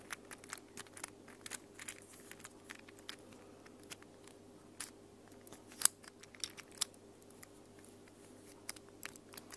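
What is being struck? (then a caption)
Plastic infinity cube fidget toy. A small mint plastic infinity cube fidget toy made of hollow plastic blocks is flipped and folded by hands with long nails. It makes a quick, irregular run of short, bright plastic clicks that stop dead, over a faint steady low hum.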